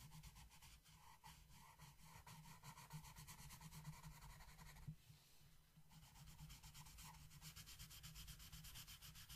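The tip of a yellow wooden colored pencil continuously rubs and scratches across a flat paper coloring book page resting on a table while shading. A steady, scratchy rasp of quick back-and-forth strokes is heard, dipping briefly around the middle before the strokes resume.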